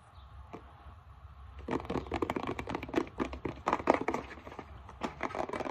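Long metallic-painted nails scratch and tap the back label of a plastic isopropyl alcohol bottle, then tap its front. After a near-quiet start, a dense run of crinkly scratches and sharp, dry clicks with no ring sets in and continues to the end.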